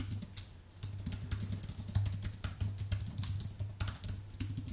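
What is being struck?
Aluminium-based computer keyboard with plastic low-profile keys.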